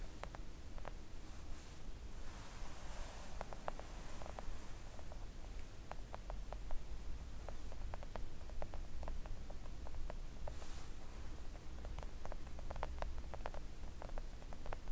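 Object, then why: Silicone mat tapped with long acrylic nails. Long acrylic nails gently tap a flat pink silicone nail art mat lying on a table. The result is a steady run of soft, quiet, dull clicks over a low rumbling background, with a few faint rustling brushes between the taps.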